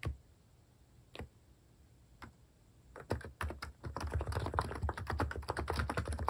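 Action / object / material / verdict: tap / compact keyboard with plastic keycaps / plastic / none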